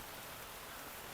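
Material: Nothing is struck.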